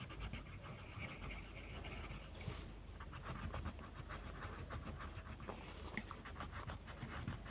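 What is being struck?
Colored pencil on paper sheet.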